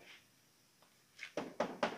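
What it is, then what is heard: Plastic car body panel. Knuckle knocks on a Smart Fortwo's plastic/fiber body panel, not its steel frame, give four short, hollow thunks with a dull midrange tone around 600 Hz. Each knock dies away almost at once, with no ringing.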